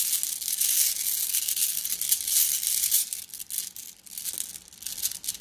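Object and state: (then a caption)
Glass gems in plastic mesh bag. A plastic mesh bag of flat blue glass gems is squeezed and kneaded by hand, producing a steady stream of bright, crinkly clicks and rustles. The sound sits almost entirely in the high range with no low end, swelling and easing in uneven pulses over about five seconds.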